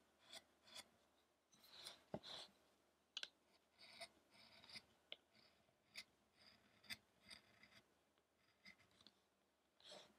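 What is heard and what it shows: A small chisel is drawn through a medium-sized, solid, light wooden sculpture of an ascetic Buddha, held by one hand as it lies on a dark table. About fifteen short, dry carving scrapes rasp out one after another, bright and hissy with almost no low end, each stopping abruptly between quiet pauses.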